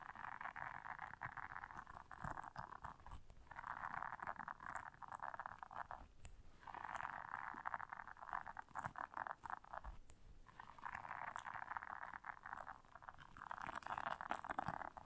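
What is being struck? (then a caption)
Silicone bristle scrubber pad. Long nails scratch and squeeze the bristles of a round, flat, solid blue silicone bristle scrubber resting on black fur. A quiet, steady rasping hiss sits mostly in the midrange, coming in long stretches broken by brief pauses.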